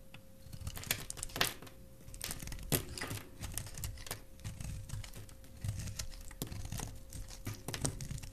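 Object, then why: Glycerin soap bar shaved with a knife blade. A utility knife blade shaves and carves a solid, palm-sized translucent red glycerin soap bar held in the hand, letting pink shavings fall away. The sound is a quiet run of crisp, crackly scrapes and short bright clicks over a low rumble and a faint steady tone. Each cut ends almost at once.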